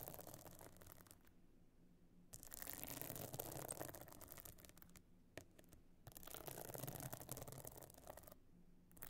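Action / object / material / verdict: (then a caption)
scrape / stone-chip encrusted metal-frame clutch bag / stone chips / none. Long nails scratch the stone-chip encrusted top of a closed pebble-encrusted metal-frame clutch bag lying flat. Bursts of bright, gritty, crackling scratching alternate with short quieter pauses in an uneven rhythm, with a faint low hum underneath.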